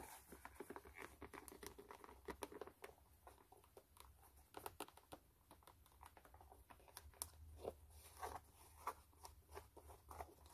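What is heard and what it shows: Long nails scratch across the white canvas side of a low-top sneaker, producing a dense run of quick, dry, crinkly scratches and soft taps with a few sharper bright clicks. The sound stays quiet throughout, over a faint low hum.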